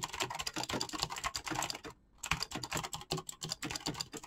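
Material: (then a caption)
Plastic. A black mechanical keyboard with clicky switches and PBT plastic keycaps is typed on quickly with the fingertips. A fast, bright run of sharp clicking keystrokes stops for a short pause near the middle, then continues.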